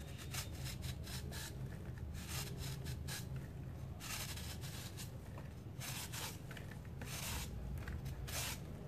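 A steel kitchen knife shaves powder off the flat face of a palm-sized, solid round disc of hardened dry grey cement held in one hand over a basin. Repeated scraping strokes produce gritty, rasping bursts with bright edges over a steady low rumble.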